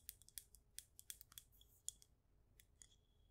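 Long acrylic nails tap on a clear glass jar candle filled with white wax and bearing a label, producing about fifteen quick, quiet taps. Each tap is a bright, high-pitched click that dies away almost instantly with no lingering ring.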